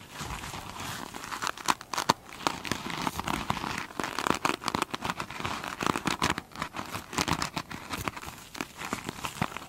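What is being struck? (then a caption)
Foam sponge with a beaded glitter surface. Long pointed nails on both hands scratch across the top of a single hand-sized foam sponge with a soft, solid, beaded glitter surface. The result is a dense, crinkly scratching texture full of quick, sharp ticks and bright hiss, with a faint midrange body. It rises and falls in uneven bursts throughout.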